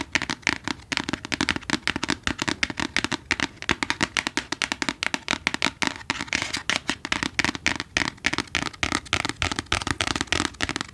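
Fingers tap rapidly on a book, producing a steady stream of short, dry, crisp taps with little ring. The tapping shifts between deeper and lighter tones as the finger position changes.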